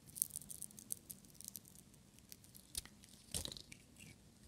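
A small, solid, brown-and-white striped bar of dry soap is held in one hand and shaved with a metal utility-knife blade, peeling off curls. The quiet scraping is made of crisp, bright crackles and short dry ticks that stop dead, with a louder, longer scrape near the end.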